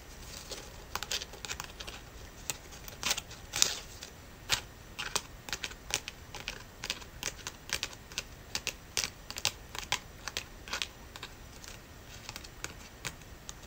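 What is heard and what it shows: Fingernails tap repeatedly on a dried brown leaf with hairline cracks in it. The taps make a steady run of light, crisp, high-pitched clicks and crinkles that stop sharply with no ring.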